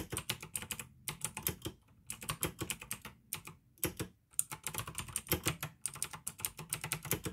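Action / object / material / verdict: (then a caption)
tap / plastic mechanical keyboard / plastic / none. Fingertips type on a pink AUKEY plastic mechanical gaming keyboard with blue switches. Quick bursts of sharp, bright clicky keystrokes come in runs separated by short pauses, each click dying away almost at once.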